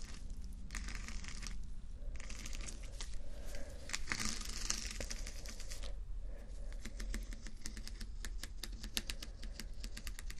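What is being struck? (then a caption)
Acrylic rhinestone sticker strips. Rows of small plastic acrylic rhinestone sticker strips are tapped and scratched with fingertips and nails, giving a dense run of sharp, bright clicks over a steady low rumble. Scratchy, crinkly passages alternate with clusters of quick taps that grow faster and more distinct toward the end.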